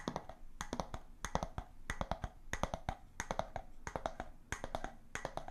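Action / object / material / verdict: tap / glass jar with bamboo lid / glass / none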